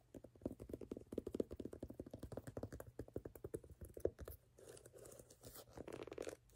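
Fingertips and nails tap and scratch across the tread ridges of the solid, ridged brown rubber outsole of a canvas platform sneaker held in hand. Rapid, dull, muted taps with a mid-low thump run for about four seconds. They then give way to a softer, steadier scratching rasp across the rubber.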